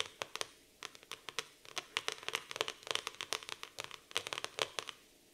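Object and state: Laminated cardboard notebook cover.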